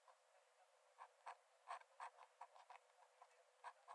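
A metal nib in a wooden dip-pen holder scratches thin lines onto the cream paper page of an open sketchbook lying flat on a dark desk. Quiet, dry, irregular scratches and ticks, centred around 1 kHz with faint bright edges, come and go with no ring and no low end.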